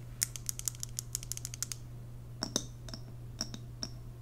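Long nails tap and scratch the wooden lid and glass of a large WoodWick candle jar full of white wax, held in the hands. A quick run of dry, bright clicks gives way to about twenty separate, sharper taps, some leaving a brief high glassy ring. A steady low hum runs underneath.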